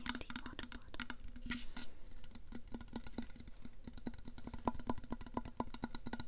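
A tall, hollow, black powder-coated stainless steel Yeti insulated water bottle is held upright next to a lapel mic and tapped along its side with long nails. The result is a rapid, irregular series of sharp, dry clicks with a faint metallic tone around 200 Hz and 1 kHz that dies away almost instantly.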